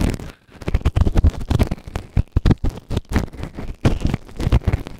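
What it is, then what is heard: Silicone ear microphone scraped inside. A white plastic ear tool held in fingertips scrapes inside the canal of the right ear of a grey silicone ear-shaped microphone, which is soft and solid and sits on a round base. A rapid series of short, close, crackling scratches is heard, with deep, muffled thumps dominating the low end and very little brightness.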